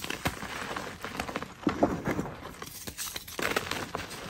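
A solid pasted gym chalk block is held in the hands and squeezed and crushed with the fingers and long nails, breaking into chunks and powder over a tray of loose chalk. A steady run of dry, crunchy crackles and sharp snaps is heard, with a few louder cracks standing out as pieces break away.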